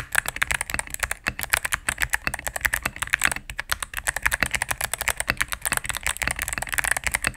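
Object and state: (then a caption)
Mechanical keyboard with plastic keycaps. Rapid typing with fingertips and medium nails on a cream full-size mechanical keyboard with plastic keycaps on a solid plastic case. A steady stream of crisp, clacky key presses sounds bright and dry, with each click dying away instantly and little low-end thump.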